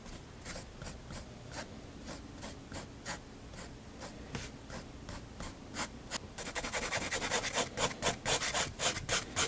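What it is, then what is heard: Pen hatching on sketchbook paper. A fineliner pen tip scratches rapid hatching strokes near the bottom edge of a spiral paper sketchbook page on a desk. Soft, bright, dry scratching strokes repeat at a quick, fairly steady pace. They grow louder and crisper toward the end.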